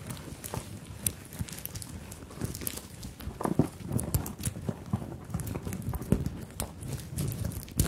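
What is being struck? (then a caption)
Fabric handbag covered in sequins and beads. Long nails tap and scratch across a small fabric handbag covered in sequins and beads, held over the microphones. Soft, low, uneven taps mix with a light rustle and occasional bright clicks from the sequins and beads, with a few sharper knocks standing out.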